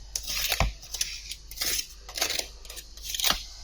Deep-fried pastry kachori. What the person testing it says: इसका क्रिस्पी और क्रंची पन आपको आवाज से पता चलेगा